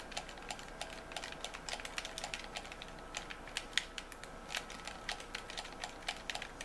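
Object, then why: Plastic game controller buttons. A white plastic game controller held in both hands is clicked continuously, with thumbs and fingertips pressing its buttons and triggers. A quick, irregular stream of short, sharp, bright clicks rises over a steady low hiss and a faint, even hum, and each click dies away almost instantly.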